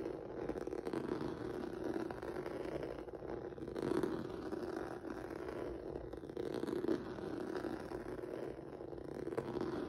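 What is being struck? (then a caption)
Textured rubber mat. Fingertips and nails scratch across a flat black rubber or vinyl mat with a textured noodle surface. A steady, dense scratchy rustle with a mid-range body around 340 Hz continues throughout, swelling slightly at times, with little deep bass and almost nothing bright above it.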